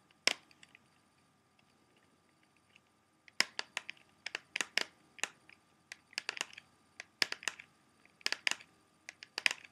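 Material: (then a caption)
Plastic. A small, hollow, closed clear plastic CD jewel case is held in both hands while its front is tapped and scratched with fingertips and short nails. A single sharp click comes first, followed by a quiet pause of a few seconds and then a steady run of bright, dry plastic taps and short scratchy clusters. Each sound stops almost instantly, with little low end.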